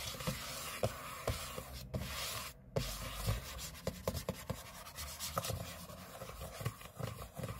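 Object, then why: Aluminium laptop lid. Short fingernails and fingertips scratch the aluminium lid of a closed space-grey MacBook lying flat on a table, its thin hollow shell sounding a dry, continuous rasping scrape. The scratching sits in a low hollow body with a bright gritty edge, broken by about ten sharper strokes that stand out above the steady rubbing.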